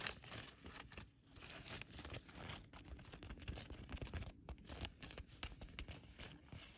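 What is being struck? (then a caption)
Woven plastic tarp. Fingertips and long nails scratch, rub and pluck the fibres along the frayed, torn edge of a large, thin blue woven polyethylene tarp hanging on a metal frame. The result is a dense run of dry, crinkly scratches and quick plucks with a tearing texture, bright crackle over a low, rumbly base, each sound stopping almost instantly.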